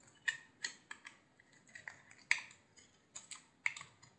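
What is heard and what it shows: A utility knife blade shaves a hand-sized, solid cream-white soap bar with a blue rim. About ten crisp, bright scraping cuts come at an irregular pace, each a short dry crackle centered near 2 kHz that stops almost at once. Quiet pauses fall between the cuts.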